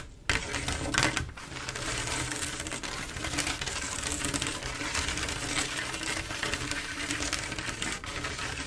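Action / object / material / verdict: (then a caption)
tap / glass mosaic tile panel / glass / none. Long acrylic nails tap rapidly across a large, solid, flat glass mosaic tile picture made of silver mirror-like tiles. After a brief quiet start, a dense, steady stream of bright, glassy clicks and ticks continues throughout, with each tap dying away quickly.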